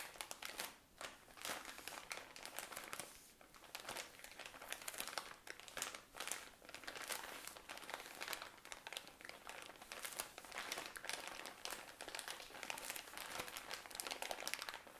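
A tall cylinder of cotton pads in thin plastic wrapping is squeezed and crinkled with fingernails. The result is a continuous, bright crinkling and crackling of the plastic, with dense, rapid crackles that swell and ease throughout. There is almost no low end.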